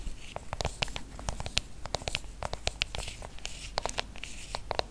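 Fingertips and long nails tap rapidly on the aluminium back of a silver iPhone held close up, producing a dense stream of short, dry, bright clicks with no ring. A soft low hum sits underneath the uneven tapping throughout.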